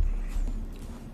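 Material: Nothing is struck.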